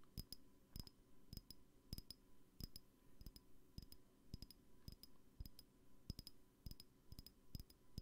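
Light, repeated tapping on a glass perfume bottle produces short, bright clinks and chinks with a faint ring. The taps come in a loose, uneven rhythm over a low background hum.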